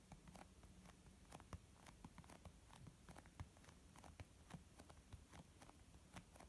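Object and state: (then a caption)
Leather makeup bag. Long almond-shaped nails tap slowly on a white textured leather zip makeup pouch, producing soft, muffled, low thuds with short bright clicks. The quiet, dry taps come at an uneven, unhurried pace and die away almost instantly.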